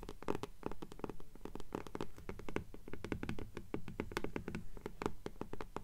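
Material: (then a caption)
Paper. Long polished nails scratch back and forth across the paper dust jacket of an upright hardcover "Fairies" book. Dense, quick, irregular strokes each give a short, dry scratch with a low body and little ring.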